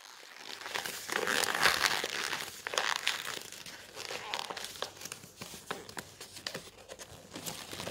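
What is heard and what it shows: Fingertips flex and crinkle the thin stacked pages of a glossy coated-paper brochure resting on a table. Bright, papery crinkling and crackling comes in dense, irregular bursts with almost no low end. The loudest, fullest crumpling comes early, then thins into sharper, scattered crackles.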